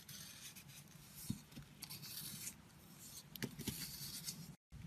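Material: Soap.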